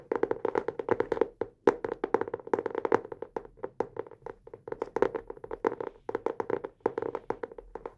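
Fingertips rapidly tap and scratch the cover of a solid, closed teal hardcover notebook held upright in both hands. The result is a dense stream of short, dry, hollow taps centered in the midrange around 400 Hz, with quick decays and brief pauses between bursts.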